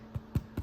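Three soft, low, hollow thuds as a freshly baked cracked wheat and oat whole grain bread loaf is tapped while still in its pan. Each tap is brief and dull with almost no ring, and the hollow sound shows the loaf is baked through.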